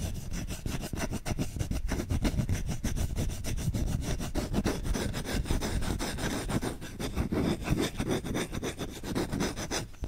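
A solid wooden spoon held close to the microphone has its back scratched rapidly with short nails and fingertips. The result is a fast, continuous run of rough, dense scraping strokes. The sound is mostly low and woody, with a faint bright edge on each stroke.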